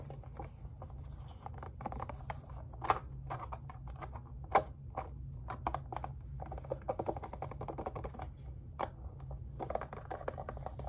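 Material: Plastic.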